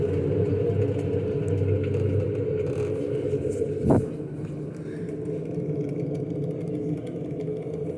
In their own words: girando aqui o tanque sem as polias sem a correia sem o motor dá para escutar o ronco do rolamento